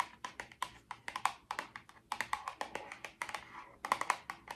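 Long orange nails tap and scratch a small, hollow pink printed Miracle Patch cardboard box held in both hands. About 25 quick, dry taps sound in uneven bursts, each a short hollow click centred near 1 kHz with a bright edge that dies away almost at once. Faint scratching fills the gaps between them.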